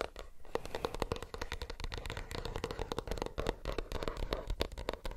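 A plastic earbuds case is tapped rapidly with fingernails in quick, uneven bursts. Each tap is a dry, short click with a faint hollow tone around 470 Hz and a soft low thump underneath, with no ring after each hit.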